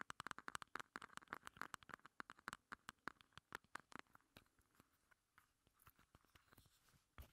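A small, hollow, pink hard-plastic heart-shaped cosmetic compact is held in both hands and tapped and scratched with long red nails. Rapid, dry, bright clicks with no ring come in dense bursts, fastest and loudest in the first half, then thin out into softer, scattered taps and scratches. One heavier knock lands near the end.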